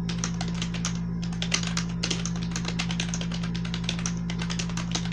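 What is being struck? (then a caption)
Plastic membrane computer keyboard. A full-size black plastic gaming keyboard with blue accents and membrane keys, lying on a white textured sheet, is typed on rapidly by both hands using fingertips and medium-length nails. A dense, steady stream of soft, bright key clicks and taps runs throughout over a constant low hum.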